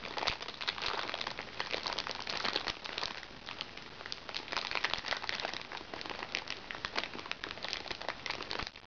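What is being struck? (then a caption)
Makeup bag of thin recycled plastic film. A small, flat makeup bag made of crinkly recycled plastic water-sachet film with fabric trim lies empty on a lap and is scratched and tapped by long, red-painted fingernails. The sound is a steady stream of dense, bright crinkling and crackling, with many short, sharp clicks and little low end.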